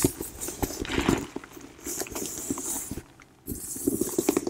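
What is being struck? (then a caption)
Woven leather handbag. Long nails scratch and trace across a medium plum woven (intrecciato) leather hobo bag, soft and hollow. The result is a dry, crackly scraping with small clicks and a faint hiss, pausing briefly before the scratching picks up again.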